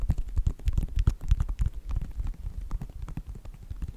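Fingertips and nails tap and scratch the sides of a white Nike sneaker with a synthetic upper. The result is a rapid, uneven run of dull, low, muffled taps with short, dry scratchy clicks in between, each one stopping almost instantly.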